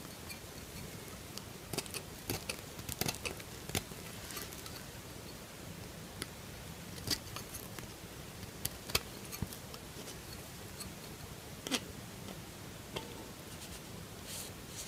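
The metal tip of a knife scrapes and cuts into a partly carved solid pink bar of soap. A series of short, sharp, bright scraping ticks and crisp crackles comes at irregular intervals over a quiet, steady hiss. Each cut dies away almost instantly.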